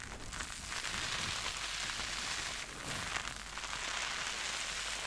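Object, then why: Synthetic sponge covered in soap foam. A purple porous synthetic sponge covered in soap foam is pressed, dug into and squeezed with both hands by long red nails. The sound is a steady, bright wet bubbly crackling and fizzing, like rain on a surface, with slight swells as the sponge is squeezed.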